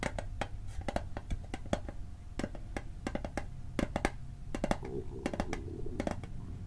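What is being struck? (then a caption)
Small hollow metal mint tin. A small, rectangular, hollow metal Altoids mint tin is held on its side and tapped and knocked along its edges with fingertips. The result is a rapid, uneven run of short, dry metallic clicks and knocks that die away almost instantly, over a steady low hum.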